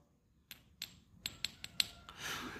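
Six gentle taps sound out as crisp, high clicks with a thin, brief ring above them, ending in some handling rustle. The ingot is judged silver rather than gold; its brighter, livelier tap lacks the dead, heavy thud expected of gold.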